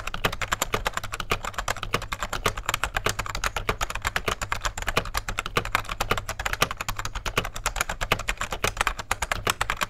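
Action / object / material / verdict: tap / plastic rubber dome keyboard / plastic / none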